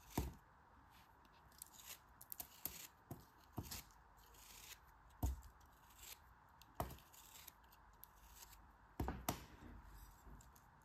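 Two hands with long red nails break a solid, packed, hand-sized green kinetic sand figure and crumble it into pieces over a white surface, then rub it. Soft, low, crumbly thuds and brief gritty crackles come and go over a quiet, steady hiss, with several sharper breaks standing out.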